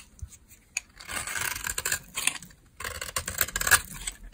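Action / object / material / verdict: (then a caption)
scrape / bar of soap cut with a blade / soap / none. A solid beige bar of dry soap held in the hand has chips carved off it with a utility knife blade. The clip is full of dry, crisp scraping and shaving strokes with bright crackles, coming in bursts with short pauses between them and ending in a few sharp clicks.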